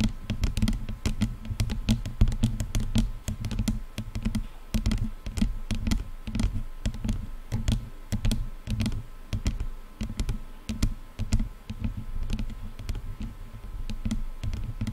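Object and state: Plastic headphone headband.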